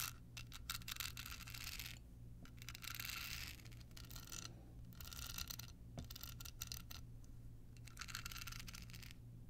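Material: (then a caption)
Rhinestone. Long pointed nails scratch a small hollow rectangular card holder covered in clear rhinestones with a red bow while it is held. Repeated bursts of bright, gritty scratching come in waves with short pauses between them, over a steady low hum.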